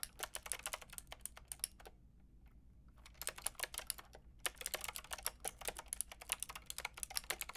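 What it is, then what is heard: Plastic mechanical keyboard being typed on. Fingertips with long red nails rapidly tap the round pink and grey plastic keycaps of a Lofree mechanical keyboard with a white plastic case. Dense bursts of bright, sharp clicks die away almost instantly, with a brief lull near the two-second mark before the typing resumes over a faint low hum.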